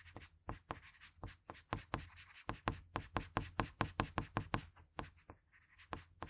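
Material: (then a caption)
Graphite, paper. A patterned blue wooden graphite pencil makes short, scratchy strokes on a sheet of drawing paper, sketching along the hair and an eye. A quick, fairly even run of dry scratches sounds close up, each stroke brief and bright over a faint low hum.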